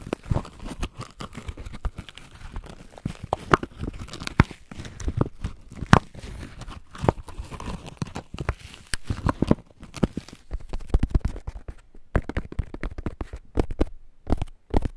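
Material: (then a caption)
Corn husk. Fingertips rub and scratch along a whole, solid ear of corn still in its fresh green husk, held between two foam-covered microphones. Dense, dry crackling and crinkling rasps come in quick, uneven bursts with sharp peaks, heavy in the low end. Each scratch stops almost at once with no ring.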